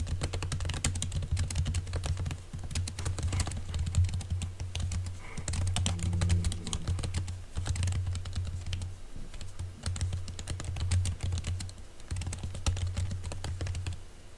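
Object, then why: Laptop keyboard under a silicone cover. A laptop keyboard covered by a green silicone keyboard cover is typed on with the fingertips of both hands. Quick, soft, muffled taps run continuously over a steady low hum, with a few short pauses near the middle and end.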